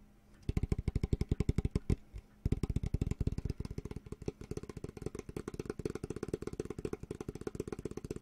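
Fingertips tap and rub the surface of a flat, solid, medium-sized bamboo cutting board held upright in both hands. Rapid, dull, low-pitched knocks with no ring follow one another quickly, pause briefly around two seconds in, then resume in a steady fast rhythm.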